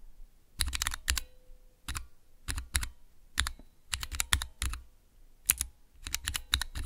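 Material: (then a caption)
Plastic. Fingertips and nails press the keys of a small clear plastic Cherry MX switch tester with transparent keycaps. Quick flurries of sharp, bright clacks with a soft low thump underneath come in short bursts separated by brief pauses. Each click dies away almost instantly.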